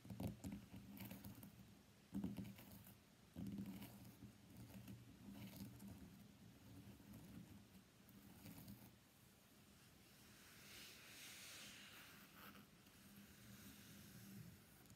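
Fingernails tap on the back and edges of an iPhone X in a pale green plastic case with a flower print, lying face down on a black desk mat. Quiet, irregular clicky taps with a low, dull body sound a few sharper knocks near the start, with a brighter, airy rustle toward the end.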